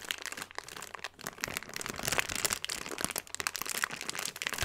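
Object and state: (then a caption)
Plastic bag of granules being crinkled. A clear plastic bag full of small purple beads is held up in both hands and shaken and squeezed. It gives off a continuous bright crinkling and rustling, with dense crackles and small granular crunches throughout and almost no low end.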